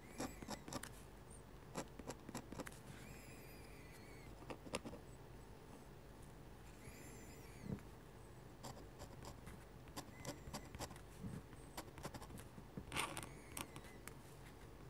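A metal-nib dip pen makes dense scratching strokes on a sheet of flat white drawing paper. Quiet, dry scratches and ticks come in irregular bursts, with occasional thin squeaky tones near 2 kHz and brighter scrapes above. Each sound dies away almost at once over a low, steady background.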